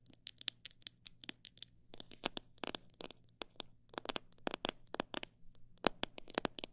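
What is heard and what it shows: Long black nails tap and scratch the outside of a hand-held clear plastic jar full of mixed bird seed and grains. Quick, irregular runs of short, dry, bright clicks, some fast and some slower, mix with brief scratchy scrapes. A faint steady low hum sits underneath.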